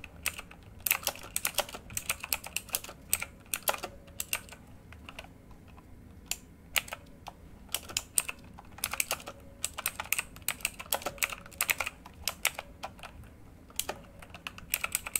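A full-size backlit RGB mechanical computer keyboard with plastic keycaps on a hollow housing lies flat while both hands type on the keys with their fingertips. Bright, sharp clicks and clacks come in quick irregular bursts, with short pauses between runs. Each keystroke dies away almost instantly.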